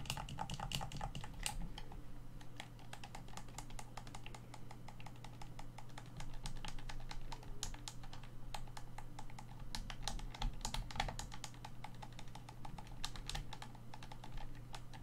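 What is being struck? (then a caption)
Plastic game controller shell. Fingertips and short nails tap and scratch the back shell of a hollow black plastic Xbox One controller turned on its side. Rapid, dry, bright clicks and scrapes come in a quick, uneven stream. A steady low hum runs beneath them throughout.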